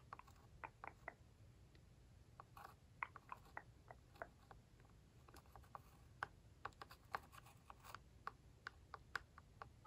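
The pointed metal tip of a glitter-filled tool traces and taps along the embossed lines of a red hollow plastic toy barn roof panel. Light, dry clicks with a hollow mid-range tone land in an uneven, steady stream, with faint scratchy tracing between them. The taps stop almost instantly over a quiet, low background hum.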